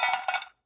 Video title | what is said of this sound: How to Make Bang Bang Shrimp Tacos - Tara the Foodie | that's how crispy they are you heard that